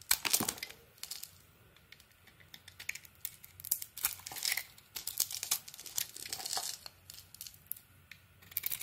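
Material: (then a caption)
Soap. A small blade shaves and scrapes curls off a rectangular solid purple soap bar with a white core, held in the hand. Bright, crisp, crinkling scrapes come in short bursts separated by quiet pauses, with no low-end body.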